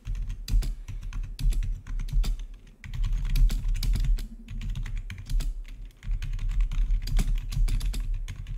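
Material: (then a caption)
Plastic. Fingertips of both hands type rapidly on a full-size black plastic membrane-style gaming keyboard with blue-to-red backlit keys. A dense, continuous stream of short, dry key clacks with bright transient edges sits over a heavy low rumble, with brief dips in the flow. No voices are heard.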